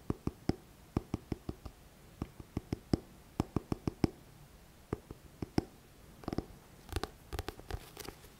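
A thick paperback book with a glossy card front cover is held upright close to the mic while fingertips tap on the cover. The result is a quick series of short, dull, low-pitched taps that stop almost instantly, some in quick clusters toward the end.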